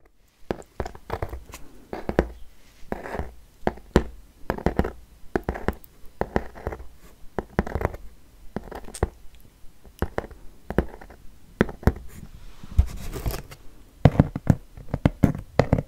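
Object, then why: Small corrugated cardboard box. A small, hollow, brown corrugated cardboard shipping box is held in the hand and scratched and tapped with long nails and fingertips. Dry, papery scratches alternate with quick, dull taps in an irregular stream, each sound cut off short with almost no ring.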